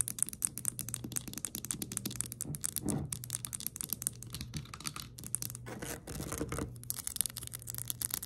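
Long nails tap and scratch fast on a round pink glass perfume bottle, partly full, with a plastic cap, with the hands close to the lens. The result is a quiet, steady stream of rapid, sharp, bright clicks and scrapes that stop almost instantly, over a faint low hum.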